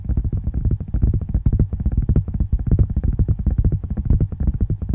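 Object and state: Tablet in a plastic and glass case.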